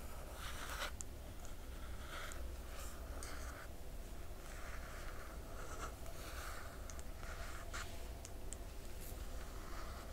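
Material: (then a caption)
Glossy paper. Long nails on both hands scratch across the glossy paper dust jacket of a large hardcover book lying flat. The result is a quiet, continuous run of dry, papery scratching and tracing strokes with brief bright scrapes. A steady low hum sits underneath throughout.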